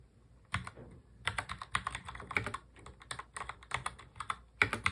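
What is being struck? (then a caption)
Plastic mechanical keyboard. Both hands type fast on a full-size black mechanical keyboard with plastic keycaps, fingertips tapping the keys. After a quiet half second, a rapid, uneven stream of sharp, bright clicks follows, each tap dying away almost instantly.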